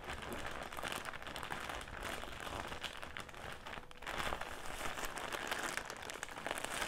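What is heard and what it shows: A soft, clear plastic drawstring bag filled with round cotton pads is crinkled by fingertips on a table, then lifted and squeezed in both hands. It makes a steady, dense crackling and rustling with bright, high crinkles throughout. After a brief dip near the middle, the crinkling returns slightly louder for the rest of the clip.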